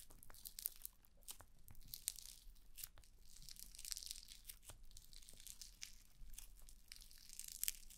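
A large sheet of red foam-bead slime (floam) is stretched and pulled apart by fingers with dark nails over a black spherical microphone. It makes quiet, crunchy tearing and squishing with many sharp, bright crackles over a soft low rumble throughout.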